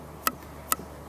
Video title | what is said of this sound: Sam Ramirez Piece 2 Thrown Pots | you can hear it's this very dull